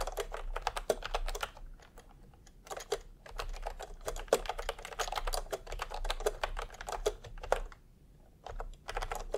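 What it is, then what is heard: Plastic keyboard typing. Bare fingertips of both hands type fast, repeated key presses on a full-size pastel plastic retro keyboard with round plastic typewriter-style keycaps, resting on white fabric. Short, dry plastic clicks with a mid-pitched clack come in quick bursts, broken by brief pauses near two and eight seconds.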